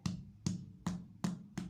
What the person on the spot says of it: when you tap it like this, I don't know if you can hear, like a drum. That's when now you know your bread is ready